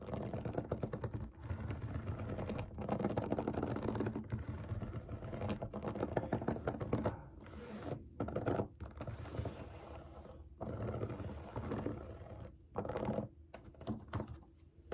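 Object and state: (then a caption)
Silicone pop-it fidget toy. Long nails tap and scratch across the bubbles of a large round rainbow silicone pop it fidget toy resting on a table. The result is a dense, continuous stream of soft, rapid clicks and dry scratching, mostly low and muffled with little brightness. It breaks off into a few brief pauses.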